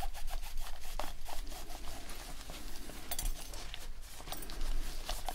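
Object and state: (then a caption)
Plastic game controller being rubbed clean. Gloved fingertips rub a microfiber cloth over the touchpad and buttons of a dirty, white, hand-sized PlayStation 4 controller with a hollow plastic shell while deep-cleaning it. The result is a steady run of soft, dry rubbing and scratchy wiping strokes over a low rumble, with brief brighter scuffs scattered through the clip.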